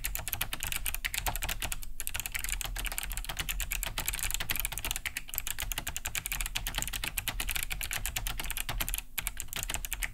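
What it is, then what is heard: Plastic mechanical keyboard. Both hands type fast with fingertips on a large beige Cherry G80-3000 keyboard fitted with Kailh BOX White switches, with a hollow plastic case and thick plastic keycaps, resting on a wooden desk. A steady stream of bright, clicky key-switch taps runs throughout with a low thuddy body and brief pauses.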